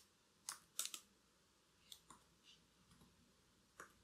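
Long black acrylic nails tap and type on the plastic keys of a laptop keyboard, worn with a bracelet on the wrist. Quiet, irregular clicks with a bright, sharp tone sound in short bursts, a few louder taps standing out over softer ones, each dying away almost at once.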